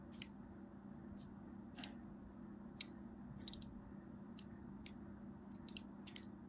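A small black blade scores dense lines into the surface of a solid purple and white striped bar of soap held in the hand. Brief, sharp, bright scratching clicks come at irregular intervals over a steady low hum.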